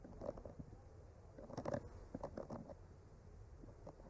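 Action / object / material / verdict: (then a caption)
tap / painted wooden board / wood / none. A bamboo skewer with a clipped-on mic traces and lightly taps along the painted branches of a flat, solid painted wooden art panel. Quiet, soft scraping is broken by brief dull taps that die away almost at once, with a busier cluster near the middle. The sound stays low and muffled, with no bright edge.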